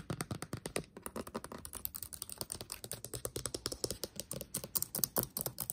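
Fingertips tap fast on the upper keys of a backlit laptop keyboard with black plastic keys set in a metal body. A quick, steady stream of short, dry, clicky taps with bright tops runs throughout, with a brief pause near the one-second mark.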